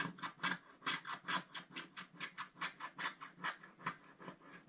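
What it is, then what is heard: Wax-coated scratch art paper being scratched. A wooden stylus scratches back and forth around a pink flower on a flat sheet of wax-coated scratch art paper. It makes a quiet, steady run of short, dry rasping strokes, a little over two per second and slightly uneven in timing. Each stroke is a bright scratchy hiss centered in the upper midrange with little low end.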